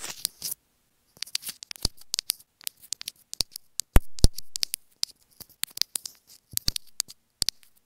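Long fingernails tap and scratch a small white plastic inline remote microphone from a pair of earphones, held in one hand. Dozens of quick, dry, bright clicks come at an uneven pace, with brief scratchy bursts at the start and a few louder, deeper taps near the middle. Each tap dies away almost instantly.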